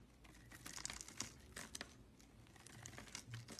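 A flat metal blade shaves and carves the surface of a hand-sized, light blue, solid Camay soap bar held in the hand, peeling off curls and flakes. The sound is a quiet, dry, crinkly scraping made of many short, bright strokes with brief sharper peaks, and each stroke fades almost instantly.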